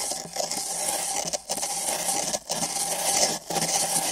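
Thin nylon bristle brushes on long sticks scratch and scrub the outside of two identical empty printed paper (cardboard) cups fitted over binaural microphone ears. The result is a dense, bright, hissy scraping that runs almost continuously, broken by brief quiet gaps about once a second as the strokes change.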